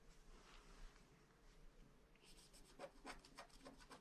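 A wooden stylus scratches fine lines into a flat paper scratch-art card with a black coating, working around castle and sky motifs. Soft, quiet rubbing at first gives way to a series of sharper, brighter scraping strokes in the second half, over a faint low hum.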